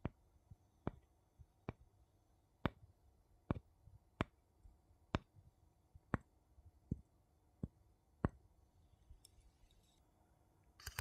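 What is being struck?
Two wooden spoons.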